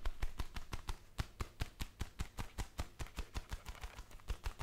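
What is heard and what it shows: Black leather gloves worn on both hands, with the gloved palms pressed and rubbed together in a steady rhythm. About 26 short, soft, muffled thumps, mostly low in pitch, each with a faint bright creak of leather that fades almost at once.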